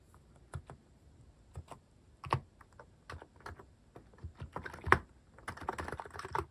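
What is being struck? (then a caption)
Mechanical keyboard with plastic keycaps. Slow fingertip typing on a mechanical keyboard with cat-shaped plastic keycaps produces short, sharp key clicks with a brief low thock beneath. The keystrokes come at an uneven pace, some louder than others, and grow denser toward the end.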